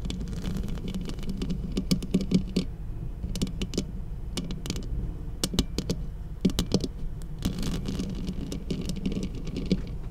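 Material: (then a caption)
Metal. Long acrylic nails on both hands tap a large black cylindrical studio microphone with a hollow metal housing. Quick, sharp clicking taps come in irregular bursts over a steady low hum.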